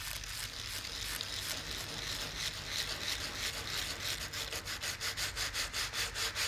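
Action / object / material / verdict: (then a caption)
scrape / woven linen canvas on the back of a painting / linen canvas / none. A gloved hand scrubs the edge of the reverse of an old, table-sized painting on flat, solid, dry woven linen canvas, first with a soft paintbrush and then with a small stiff-bristled yellow scrub brush. A steady, bright, hissing bristle rub becomes a series of quicker, distinct back-and-forth scrubbing strokes toward the end.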